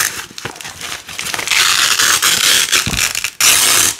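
A narrow green nylon hook-and-loop strip is ripped off red loop fastener by fingers with long nails. The result is a bright, crunchy crackling tear that starts quieter, grows louder and steadier from about halfway, breaks off briefly, then resumes as a loud rip before fading.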